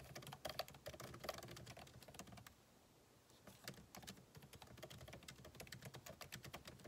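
Fingertips type on a backlit MacBook Pro keyboard with plastic keycaps set in an aluminum body, making quick, light, clicky key taps with a bright edge. Steady typing runs for about two and a half seconds, pauses briefly in near silence, then resumes as continuous tapping to the end.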